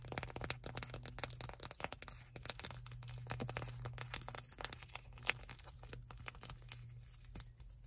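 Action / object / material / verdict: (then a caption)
tap / small plastic squeeze tube / plastic / none. Long acrylic nails tap and scratch along the printed label of a small white plastic cosmetic squeeze tube with a blue cap, hollow and partly full. The result is a dense run of quick, sharp clicks and crinkly scratches over a steady low hum, with one brighter tap standing out near the end.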